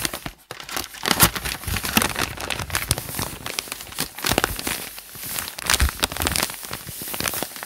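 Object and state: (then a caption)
Paper notebook pages being crumpled. Hands press, crumple and rub the lined white pages of a thick open notebook with their fingertips. The result is a steady stream of bright, dense paper crinkling and crackling that swells and dips without pause.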